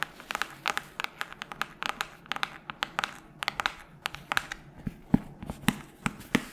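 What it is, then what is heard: Hardcover book tapped with fingernails. Long nails tap and scratch across the cover of a solid red hardcover book held up in front. Quick, dry, irregular clicks with bright edges sound over a soft scratching hiss, and a few fuller, lower taps come near the end. Each tap dies away almost at once.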